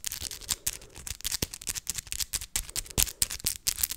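Long acrylic fake nails are tapped straight against each other, nail on nail, close to the microphone. The result is a rapid, irregular run of sharp, dry clicks that are bright and high, with almost no ring, and about 19 taps show apart across four seconds.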